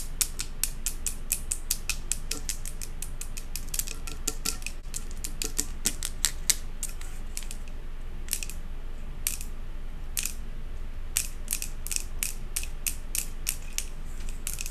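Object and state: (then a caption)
Glass jar candle tapped with nails. Long acrylic nails rapidly tap and scratch the side of a large glass jar candle with a metal lid, filled with solid white wax. A fast, uneven stream of sharp, bright clicks with very short ring sits over a steady low hum, with brief gaps around 8 and 10 seconds before the tapping picks back up.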